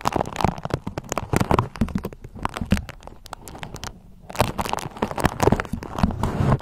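A pale yellow beeswax-coated cotton food wrap is scrunched and twisted in the hands while long nails crinkle and scratch the stiff, waxy fabric. Dense, dry crackles and crunchy rustles come in quick, uneven bursts, with a brief quieter gap just before four seconds before the crinkling picks up again.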